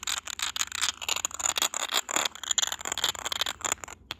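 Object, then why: Small textured glass vase. Short nails and fingertips tap and scratch the textured surface of a small, hollow, cylindrical white glass vase with a grey geometric pattern. The result is a rapid, uneven stream of bright clicks and scratchy rasps with a thin high glassy tone and almost no low end. Each tap stops almost instantly.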